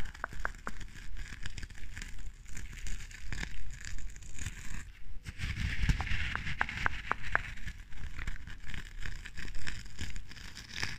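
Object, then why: Wax candle in a glass jar. Long dark-painted nails scratch and tap the white textured top layer of a small clear glass jar candle filled with red wax, held in one hand. The result is a steady run of dry, crackly scratching with soft, quick taps over a low, muffled rumble, with a brief denser burst of scraping midway through.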